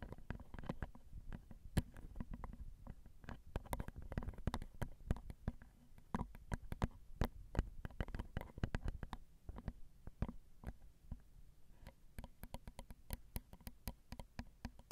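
Long acrylic nails tap on the small, hollow, crossed silver metal X/Y microphone capsules of a Zoom recorder. The result is a steady, dense run of quick, dry clicks with deep, boomy low-end thumps. Brief bright ticks sit on top of each tap, and there is almost no ring.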